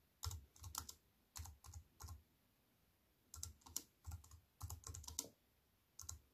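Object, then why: Aluminium-framed keyboard with plastic keys. Both hands with long nails type steadily with their fingertips on a compact aluminium-framed wireless keyboard with black plastic keys. Quick bursts of crisp key clicks come with short pauses between them. Each press pairs a soft low thud with a bright tick that dies away almost instantly.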